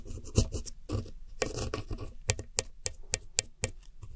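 A red-handled metal hook tool scratches the blue wedges and white center pan of pressed powder eyeshadow in a round white plastic palette. Dry, gritty rasping scrapes come first, then a quick run of sharp, bright scratchy ticks as the tip digs into the powder.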